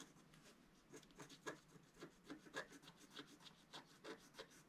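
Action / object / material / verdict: scrape / black-coated scratch-art paper scratched with a wooden stylus / coated paper / none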